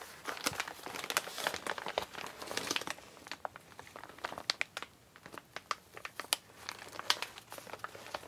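Hands with long painted nails crinkle and crumple an empty, flat, medium-size Amazon recycled kraft-paper mailer. The sound is a dense run of dry, bright crackles and sharp paper snaps with almost no low end, each snap dying away almost at once.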